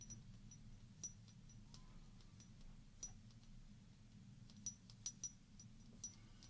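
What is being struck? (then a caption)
Small glass shot glass with water. Long painted fingernails tap and scratch a small hollow glass shot glass, partly filled with water and held up in one hand. Soft, bright clinks with a brief high ring stand out from faint scratching over a steady low hum, with a few sharper taps near the end.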